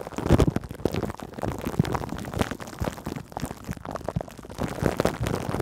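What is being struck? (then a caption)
Cling film over a metal mesh microphone grille. Long acrylic nails scratch and rub clear cling film stretched over a metal mesh microphone grille. The result is a dense, continuous crackle of rustling scrapes and quick taps, heavy and muffled in the low end with very little brightness, swelling louder near the start and again at the end.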